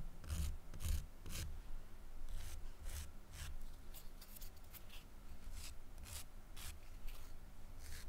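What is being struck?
Emery nail file rubbed with a fingernail.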